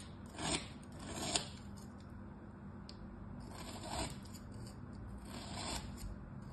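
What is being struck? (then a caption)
Packed kinetic sand shape. A thin metal tool scores lines into a flat, solid star of packed kinetic sand lying on a striped cloth while fingertips hold it in place. The result is quiet, gritty scraping in soft swelling strokes with a bright, hissy edge and a sharp little tick near one stroke.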